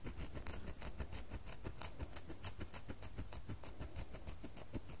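Long fingernails scrape a small solid red bar of soap held in the hand, shaving it down. Quick, uneven scratchy strokes repeat at a fast pace, each with a bright crisp rasp over a soft low thud. The clip is quiet and close, and soap shavings are left behind.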